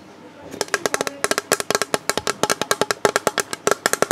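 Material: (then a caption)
Plastic. The underside of a hollow, rigid, clear plastic storage box with a moulded recycling mark is tapped with the fingertips while held in both hands. After half a second of faint hiss, a rapid, uneven run of crisp, hollow taps with a tone near 400 Hz continues to the end. Each tap dies away almost at once.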